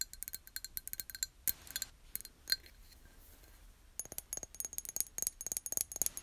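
Long nails tap a small, empty, hollow clear glass jar as it is held in both hands and turned over. Quick bursts of bright, high clicks and tinks ring only briefly, pausing for about a second in the middle before a dense run of tapping resumes.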